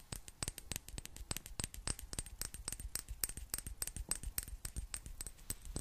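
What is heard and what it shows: A small clear glass bottle with a gold metal cap, held close to the microphone, is tapped with long black nails. Dozens of quick, irregular clicking taps sound throughout, each short and bright with a faint high glassy ping and almost no ring. The overall level is quiet.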